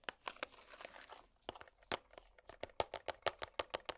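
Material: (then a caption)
Plastic. Long plastic finger picks tap and scratch a small, hollow, clear plastic compartment organizer box. A brief stretch of dry, crinkly scratching gives way to quick, irregular, sharp clicky taps with a hollow mid-range knock and bright edges. Each tap dies away almost instantly.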